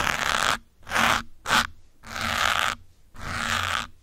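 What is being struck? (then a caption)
Foam microphone windscreen. Metal pins held in the fingertips scratch around the side and top of a grey foam windscreen on a black microphone. Five separate bursts of dry, bright scraping rise and fall with short silences between them, the middle one brief and sharp and the last two longer and steadier.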